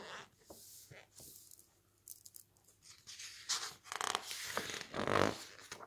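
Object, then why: Softcover book with thick glossy paper pages. A hand flips, rubs and squeezes the thick glossy green pages of an open softcover book. Quiet, soft paper swishes give way to louder, bright, crinkly rustles and brushing sweeps in the second half.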